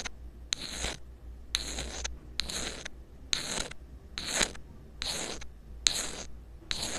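A small black rubber-coated inline earphone microphone, taped down, is scratched with a thin metal pick in repeated short strokes. Each stroke gives a bright, hissy scrape with a sharp onset, separated by brief pauses, over a steady low hum.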